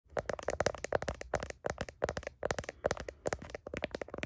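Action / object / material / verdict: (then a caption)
tap / smartphone in plastic case / plastic / none. Long nails tap and scratch the back of a handheld smartphone in a blue heart-pattern plastic case and its camera lenses, held up to a mirror and recorded by the phone's own mic. Quick, irregular, dry clicky taps with a hollow midrange tone around 550 Hz mix with brief scratchy rasps, each sound dying almost instantly.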